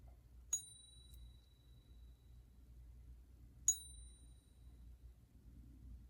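A genuine silver Mexican Libertad bullion coin is struck twice in a ping test, each tap producing a bright, high, bell-like ring that sustains for over a second before fading. The long resonant ring marks the coin as real silver, set against a low background rumble.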